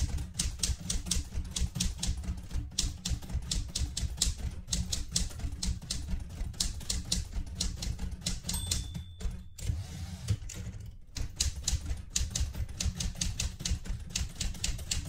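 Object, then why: Metal manual typewriter. Fingertips with red-painted nails type continuously on the plastic keys of a metal portable manual typewriter. Quick, irregular clacks have a low thump and bright click on each keystroke. Around the middle, the typing briefly pauses and a short, high, sustained tone rings before the clatter resumes.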